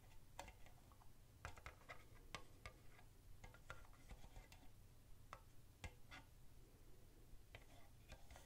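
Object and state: Empty plastic cup.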